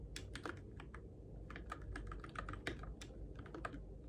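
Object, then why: Mechanical keyboard with plastic keycaps. Fingertips type steadily on a Keychron K6 compact RGB-backlit mechanical keyboard with plastic keycaps on its switches, in the dark. Rapid, bright clicky key taps overlap irregularly over a constant low hum.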